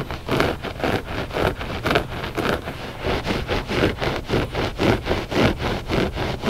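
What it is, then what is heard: Looped carpet rug scratched. Short fingernails scratch the pile of a flat, solid and soft gray loop-pile textile rug. They make dry, rasping, broadband strokes in a steady, somewhat uneven rhythm. Each stroke is brief, with no ring after it.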